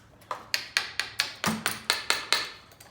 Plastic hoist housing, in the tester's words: That's real good hard plastic.